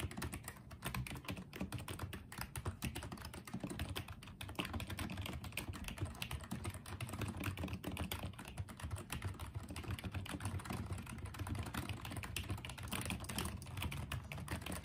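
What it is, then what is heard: Plastic keyboard being typed on. Fingertips type on and tap the keys of a small pink and white plastic Apeach wireless keyboard. The result is a steady, dense run of soft, dull clicks with a muted low thud and little ring, continuing at an even level for about fifteen seconds.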